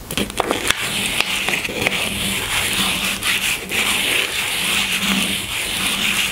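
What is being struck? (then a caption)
Small cardboard box holding a bar of soap. Long fingernails tap and scratch the top of a small pink cardboard box holding a bar of soap on a table. A few sharp, dry taps come in the first two seconds, then give way to a steady, bright, papery scratching that fills the rest of the clip.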